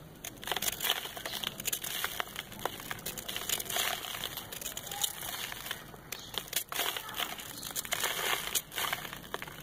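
A compacted ball of brown sand, held in the hand, is scraped with a metal knife over paper. It makes a steady run of dry, gritty crumbling and crinkling with bright, hissy grains and little low end. Loose sand flakes away from the packed ball.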